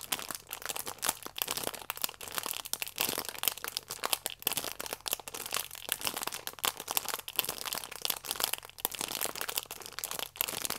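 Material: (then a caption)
Plastic film. Thumbs and nails squeeze and rub a flat stack of yeast sachets wrapped in clear plastic film. The result is a dense, continuous run of bright, crisp crinkling and crackling with almost no low end.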